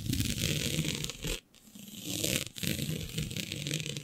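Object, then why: Synthetic stretch fabric sheet. Long nails scratch and gather a flat sheet of black synthetic stretch fabric with a shiny dotted pattern. A steady, bright scratchy rasp with a low rustling underneath briefly drops away near the middle, then resumes and continues to the end.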